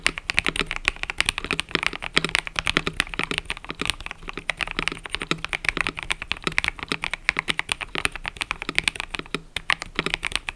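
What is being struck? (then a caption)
Mechanical keyboard with plastic keycaps. Fingertips type continuously on a mechanical keyboard with cream and purple plastic keycaps. A rapid, steady stream of short, bright clicks and clacks sits mostly in the upper range, with little low end and a faint low hum underneath. Each keystroke dies away almost instantly.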